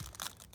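The old fuel pump intake filter sock from a 1995 Mazda Miata MX-5 NA is squeezed and handled, giving a short, dry, crispy crinkling. The brittle sock is worn out and needs replacing.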